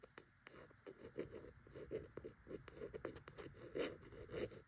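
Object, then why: Cloth-bound hardcover book. Long acrylic nails tap and scratch across the embossed, textured cloth front cover of a medium-sized vintage hardcover copy of "The Night Before Christmas," its cloth binding stretched over board as the book stands upright on a shelf. Quiet, dull midrange taps mix with dry scratchy rasps in a quick, irregular rhythm, each sound dying out almost at once.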